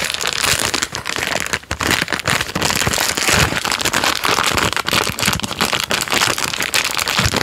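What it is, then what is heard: Plastic biscuit packet crinkled. A full plastic-film packet of Jammie Dodgers Unicorn biscuits is crinkled, squeezed and rubbed with fingertips. The result is dense, continuous bright crackling and rustling, with brief dips in loudness throughout.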